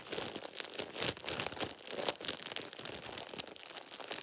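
A thin, light-green plastic shower cap is crumpled and rubbed between fingers with painted nails, producing a continuous bright crinkling. The crackles come in dense bursts with almost no low end and die away instantly.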